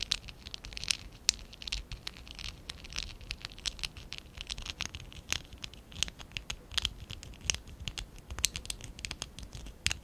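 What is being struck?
Small stack of plastic Lego bricks.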